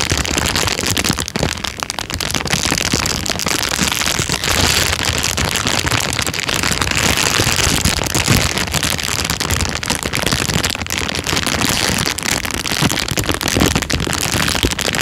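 An empty, thin, transparent plastic bag is scrunched with the fingers, producing dense, continuous crinkling and rustling. The crackle is bright and steady in level throughout, with no pauses.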